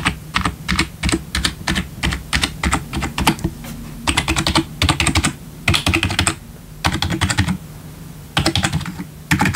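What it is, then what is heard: Plastic keyboard being typed on. Fast typing on a full-size black plastic membrane gaming keyboard with RGB backlit keys, resting on a wooden desk and tapped with the bare fingertips of both hands. Quick bursts of sharp, bright key clacks with dull low thumps underneath are broken by short pauses, and each tap dies away almost at once.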